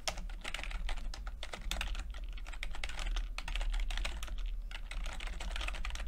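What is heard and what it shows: Fingertips type steadily on a backlit chiclet computer keyboard with plastic keycaps, producing a rapid, continuous run of short, crisp clicks and taps. The clicks are bright and die away almost instantly over a steady low hum.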